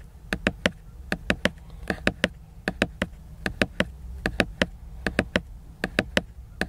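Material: Laminated paper.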